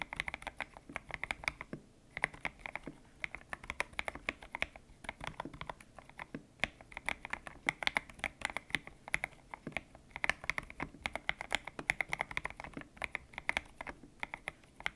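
Fingertips type steadily on a white-cased mechanical keyboard with grey and pink PBT plastic keycaps, its hollow case resting on a desk mat. The clip is full of quick, bright clacks with a tonal ring near 2.1 kHz and very little low end. Each keystroke is short and dry, and the typing comes in brief bursts with small pauses between them.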